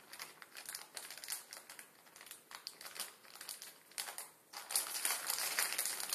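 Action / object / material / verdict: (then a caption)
scrape / plastic instant noodle packet with dry noodles / plastic film / none. A full instant ramen packet, plastic film with dry noodles inside, rests on a table and is crinkled and scratched with fingertips. Bright, hissy plastic crinkles come in irregular bursts with almost no low end, building to a louder, denser stretch of crinkling near the end.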